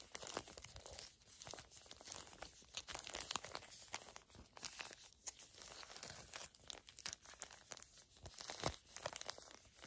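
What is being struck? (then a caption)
Filled foil-laminate sachet. A small, flat, filled Garnier Fructis hair mask sachet made of foil and plastic laminate is crinkled and squeezed with long nails and fingertips. The result is a quiet, dense stream of bright, crisp crinkles and sharp crackling snaps with very little low end, continuing throughout.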